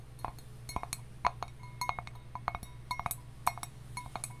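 A hollow hammered copper mug with a handle, held in the hands, is tapped with long nails. It makes a quick, irregular series of light metallic clinks, each with a short ring around 700 Hz to 1 kHz, over a steady low hum.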